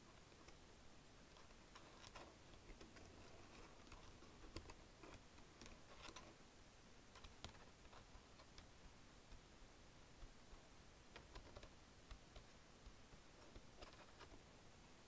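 Fingertips with long nails type on the keys of a black plastic chiclet wireless keyboard. Quiet, irregular key clicks come through as short, sharp, bright ticks that die away almost instantly, over a faint, steady low background hiss.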